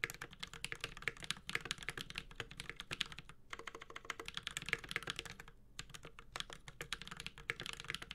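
A 65% mechanical keyboard, the Space65 Cybervoyager with Holy Panda switches, an aluminum case and ABS keycaps, is typed on continuously with the fingertips of both hands. Its rapid, bright clacks are short and crisp, with little low end. Brief pauses fall near 3.4 and 5.7 seconds.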